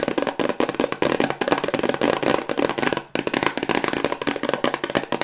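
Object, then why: Small cardboard box. A small, hollow white hexagonal cardboard cosmetics box, held in both hands, is tapped quickly with long white acrylic nails. The result is a rapid, continuous stream of light, dry clicks and hollow knocks with a short ring, pausing briefly just after the three-second mark before resuming.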